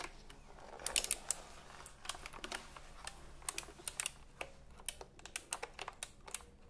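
A retro typewriter-style computer keyboard with round plastic keycaps is held horizontally, then upright, while fingertips press and tap its plastic keys. The result is a quiet, irregular series of short, sharp, bright clicks that stop instantly with no ring, over a faint low hiss.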